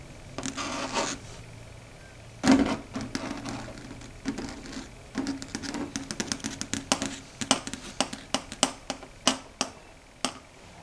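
Long red stiletto nail tips click and tap on a large, flat, dark gray chalkboard. There is a long, irregular run of sharp, dry, bright clicks, with a few brief scratchy strokes mixed in. A faint low hum runs underneath.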